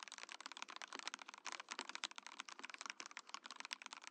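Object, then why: Mechanical keyboard, plastic case and keycaps. Fingertips type quickly on a compact Mojo68 mechanical keyboard with a translucent clear plastic case and plastic keycaps. The keystrokes come in a dense, continuous stream of crisp, bright clacks with almost no low end. Each tap is short and dry and dies away instantly.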